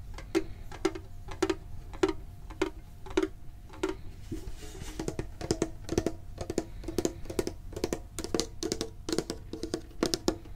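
A medium-sized hollow printed metal Pokemon card tin is held and tapped on its sides with the fingertips and short nails. Evenly spaced, slow taps give way after about four seconds to faster, clustered tapping. Each tap is a crisp metallic tick with a short hollow ring around a low-mid tone, over a quiet low rumble.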